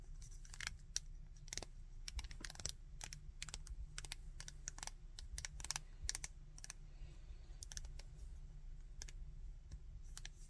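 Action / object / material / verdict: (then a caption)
scrape / plastic action figure / plastic / none. A small, solid, painted plastic Dragon Ball Bardock action figure is held in the hands while fingertips bend and rotate its arm joints. Sharp, bright clicks and ratcheting snaps come from the plastic joints in quick irregular bursts over a low, steady rumble.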